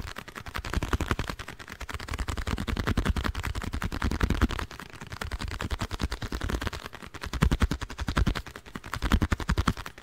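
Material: Cardboard.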